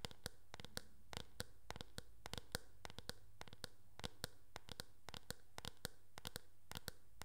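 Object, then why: Hard plastic hairbrush back. Long nails tap and scratch on the back of a teal hard plastic oval hairbrush, making about thirty sharp, bright clicks at an uneven pace. Soft scratching fills the gaps, over a quiet, steady low hum.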